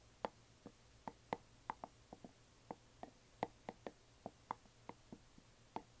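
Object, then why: Small resin or plastic box. A closed, hollow yellow glitter resin or plastic coffin box lying flat is gently tapped on its sides with long nails. A quiet, irregular series of short, dry, hollow clicks is heard, each with a midrange knock around 500 Hz to 1 kHz and a faint bright tick, dying away almost instantly into near silence.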